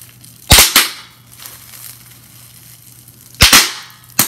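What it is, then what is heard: Plastic bubble wrap popping. Clear plastic bubble wrap, first a flat sheet and then a small crumpled piece, has its bubbles pinched and popped with the fingers. Five sharp, bright pops snap out in pairs with short, quick decays, separated by quiet plastic rustling over a faint low hum.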